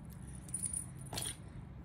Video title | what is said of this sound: هدیه هام ازژاپن (پارت 2) و قیمتا؟! | همشونم از این صدای زنگوله دارن